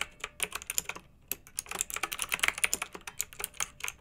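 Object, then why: Plastic mechanical keyboard with round metal-rimmed keycaps. Fingertips type on a pink backlit, typewriter-style plastic mechanical keyboard with round metal-rimmed keycaps. A steady run of sharp, bright keystroke clicks with very little low end pauses briefly near the one-second mark, then resumes at an even, relaxed pace.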